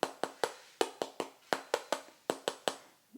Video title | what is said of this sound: ¡Paleta de Cerdo o Puerco, asada al horno! ¡Cubano! 🇨🇺 | ça sonne comme ça parce que la peau est très croustillante, c'est comme des cookies